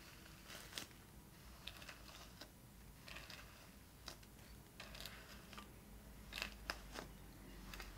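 Long nails tap and scratch the ridged surface of a small, hollow, shiny metallic-pink plastic shell-shaped purse from a Barbie The Movie doll, held in the hand. Quiet, irregular light clicking taps mix with brief dry scratching rasps over a faint steady background.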